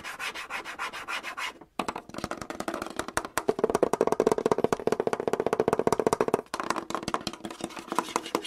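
Fingertips and nails tap and scratch the front panel of a red and grey Samsung canister vacuum cleaner with a hollow hard plastic body, sitting on a wooden shelf, close to the microphone. Quick, dense clicks and raspy scrapes run continuously with a hollow midrange tone, pausing briefly twice.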